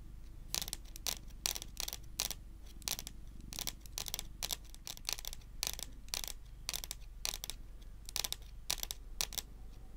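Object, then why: Wooden tabletop tapped with fingernails. Long nails tap slowly on a solid, dark wood-grain tabletop. Each tap is a short, dry, bright click with almost no ring, repeating in a steady series over a faint low background hum.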